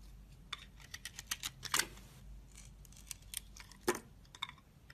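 A hand-held, solid rectangular white soap bar with a red glitter edge is sliced and carved with a metal utility-knife blade, and pieces break off. The blade makes crisp, bright scraping cuts and short snapping clicks at an irregular pace, with two louder cracks where chunks come away, over a quiet background.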